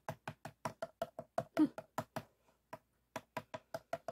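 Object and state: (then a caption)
Empty plastic PET bottle. Fingertips and nails tap and scratch along the ridges of a clear, empty, hollow ridged plastic PET water bottle standing upright on white foam. Nineteen short, dry, hollow taps with a quick decay come in a steady rhythm. A brief gap near the middle interrupts them before the tapping resumes.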